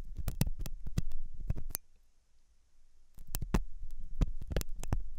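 A thin hooked metal dental tool scratches inside the ear canal of a white silicone dummy ear on a binaural microphone. The sound is close, muffled, deep and thumping, with sharp clicks and scrapes arriving in irregular bursts. The scraping pauses for about a second and a half in the middle before starting again.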